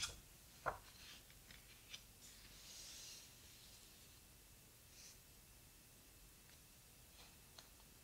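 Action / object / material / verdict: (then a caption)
scrape / large hardcover book with heavy paper pages / paper / none. A large open hardcover photo book with heavy paper pages is handled as fingertips and long nails rub across the pages and turn them. Soft papery rustles and brushing swishes fill the quiet clip, with a few sharp taps and flicks, the loudest near the start.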